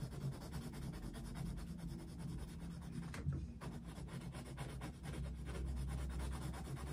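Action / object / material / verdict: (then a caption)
scrape / wooden coloured pencil on a paper colouring book / paper / none. A dark wooden coloured pencil vigorously shades a Mickey Mouse picture in an open paper colouring book resting on a desk. It makes a steady, low, dull rubbing and scratching on the paper, with short strokes swelling and fading over a continuous soft scrape.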